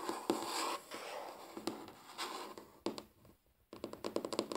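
Tapping on a wooden table, with sharp knocks carrying a dull ring near 340 Hz, separated by soft scratchy brushing. After a brief quiet gap, a quick burst of closely spaced taps ends the clip.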